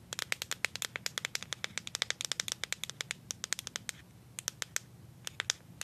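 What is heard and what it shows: A handheld plastic deodorant stick with a paper-like printed label, likely full of product, is tapped and scratched on its side with paper clips glued on as long nails. Dozens of sharp, bright clicks come in a quick, uneven patter over a faint low hum, with a short gap near the four-second mark before a few sparser taps. Each tap is dry and dies away at once.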